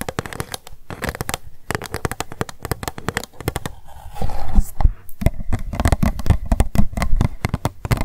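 Long nails tap rapidly on an empty, hollow, transparent pink plastic cup, first while it is held and then after it is set down. The dense, uneven clicking has short dry knocks with a low, thumping body. Around the middle, a louder stretch of scratching breaks in before the fast tapping resumes.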